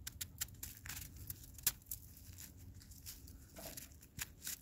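A palm-sized ball of granular snow that has turned to ice, solid and held in a black glove, is squeezed by the fingers. It gives a series of quiet, bright, crisp crunches and crackles over a low rumbling background.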